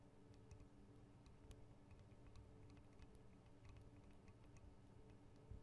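Long acrylic nail tips tap the metal guard wings and microphone capsules of a Tascam DR-40 recorder. Sharp, bright ticks land irregularly over a steady low hum, and each tick fades quickly.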